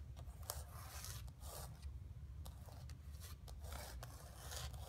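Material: Canvas.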